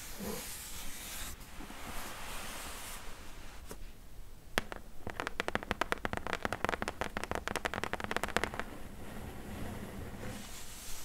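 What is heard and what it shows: Long nails tap and scratch the side and top edge of a medium, closed, hollow corrugated cardboard shipping box. A bright, hissy scratching opens the clip, then a couple of isolated clicks lead into a quick, dense run of sharp, dry taps with almost no ring. It ends with softer scraping against a low hollow rumble.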